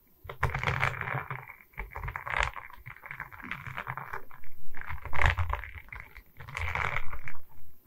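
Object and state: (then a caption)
Diamond painting board tapped and scratched. Long red nails tap and scratch across a diamond painting on a wooden canvas: a flat rectangular board covered in small resin rhinestone beads on a wooden frame, held in both hands. Quick, uneven bursts of clicky tapping blend with dull, low rubbing scrapes that swell and fade in waves. There is no speech.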